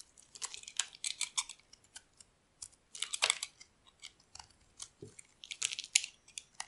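A metal utility blade carves the corners of a solid cream rectangular bar of dry soap held in the hand. Crisp, bright scraping and crackling bursts come in quick irregular clusters, dry and with no ring after each cut.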